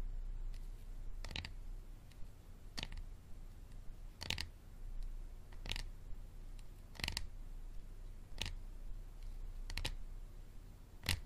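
A hard plastic water bottle is tapped and scratched, giving sharp, dry clicks at a slow, fairly steady pace, some landing as quick doubles. Each click is brief and bright with almost no ring, over a quiet low hum.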